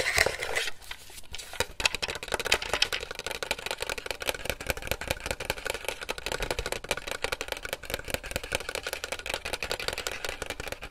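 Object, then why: Small hollow plastic toy. Fingertips and nails tap and click rapidly on a round, hollow white and silver plastic toy game with a red strap or tab, held close to the microphone. The sound is a dense stream of short, bright plastic clicks and taps with little low end, continuing steadily throughout.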